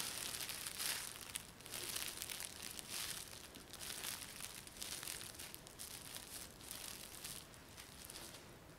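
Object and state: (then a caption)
Plastic film bag crinkled. A thin, clear plastic bag or film wrapped over a person's hair is rubbed and crinkled by fingertips and palms. It makes a quiet, continuous, irregular crinkling with bright, hissy highs and almost no low end. The soft, hollow rustling rises and falls in uneven swells throughout.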